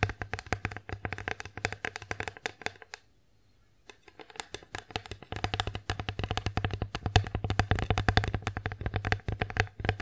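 Long nails tap quickly on the front and back of an empty wooden bear-face plate as it is turned in the hands. The result is a dense run of short, dry, clicky taps with a low knocking body, a brief quiet pause around the third second, then steady tapping resumes to the end.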